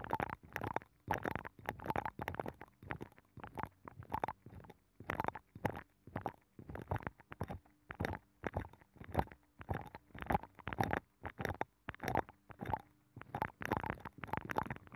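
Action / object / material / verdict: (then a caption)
scrape / abalone shell scratched by a fingernail / shell / none. A long fingernail scratches the inner ridges of a hollow abalone shell with a nacre interior, mounted on a microphone. The result is a rapid series of short, rough scraping bursts with a hollow, muffled midrange tone and a low rumbling undertone.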